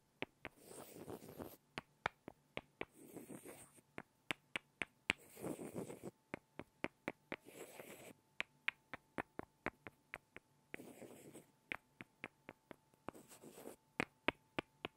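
Two small solid light-wood blocks are tapped together by hand, giving dozens of sharp, dry, bright clicks that stop almost instantly. Short bursts of soft rustling, scraping noise come between runs of taps, over a faint steady tone.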